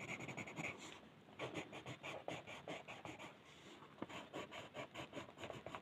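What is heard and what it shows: A blue colored pencil shades a flat white paper mandala sheet on a table with rapid back-and-forth strokes while the other hand steadies the sheet. The result is a quiet, dry, scratchy rubbing in quick rhythmic bursts with a bright, hissy edge, easing briefly around one second and again around three and a half seconds.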